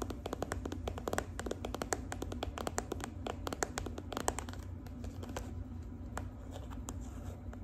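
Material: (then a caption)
Plastic. Long acrylic nails tap and scratch the surface of a hand-sized, filled gold-and-red plastic squeeze tube of body cream. Many quick, dry clicks with very short decay ring out over a steady low hum, mixed with softer scraping between the taps.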